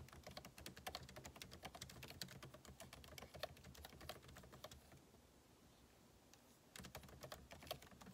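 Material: Plastic.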